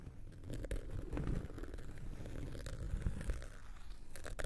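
A round, flat, solid cork coaster held in one hand is scraped and scratched across its surface with the tip of a thin wooden or bamboo knitting needle. The result is a dense, low, crunchy scratching with many short, dry strokes and occasional brighter scrapes.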